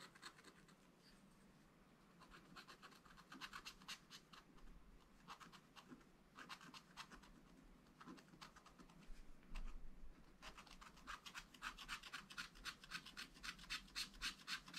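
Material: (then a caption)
Waxed paper. A wooden stylus scratches short, rapid strokes into a black wax-coated scratch art page in a spiral pad, working on the pufferfish area of the drawing. The quiet, dry, bright scratching comes in bursts of quick, uneven strokes and grows denser and louder toward the end.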